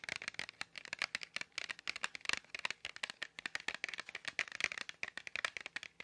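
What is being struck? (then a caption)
Small cardboard box of markers. A small, hollow Crayola markers cardboard box, apparently full of markers, is held in both hands near the mic and tapped and scratched with long fingernails. About thirty quick, dry, bright clicks and scratches come in an irregular stream over six seconds, each dying instantly with no ring and almost no low end.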